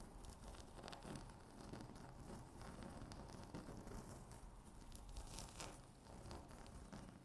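Long natural fingernails tap and scratch a flat, solid, speckled granite-look laminate tabletop. The result is a steady, dense stream of quick clicking taps and rough scratching, with low body and brief bright ticks, all at a quiet, even level.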